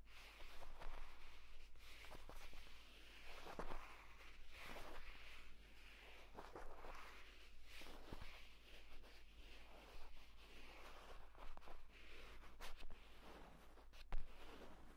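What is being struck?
Padded leather tablet folio case.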